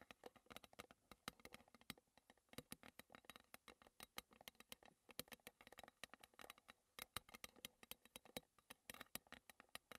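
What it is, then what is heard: Metal tea tin. Long red-painted fingernails tap and scratch the lid and sides of a small square green Twinings metal tea tin, which stands closed on a table. Quick, bright clicks and light scraping sounds come in a steady, uneven patter of about 59 taps over ten seconds. Each click is quiet and dies away almost instantly.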